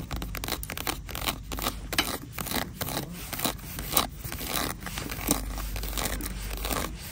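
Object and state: Faux leather wallet.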